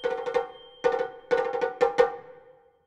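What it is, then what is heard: Shime-daiko drum with tight rawhide head. A small Japanese shime-daiko drum on a low metal stand, with a hollow lacquered wooden shell and a tightly stretched rawhide head, is struck with two wooden bachi sticks in repeated taps. Groups of sharp, dry, pitched cracks ring briefly around a mid tone, with a bright edge on each hit. The last taps fade out quickly into silence.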